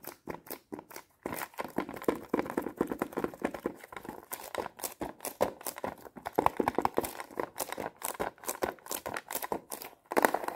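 Long painted nails tap and scratch fast across the clear lid of a small, flat plastic watercolor paint palette case with round paint pans, held up close. The result is a dense stream of short, dry plastic clicks and scrapes centered in the mid range, with brief pauses near the start and end.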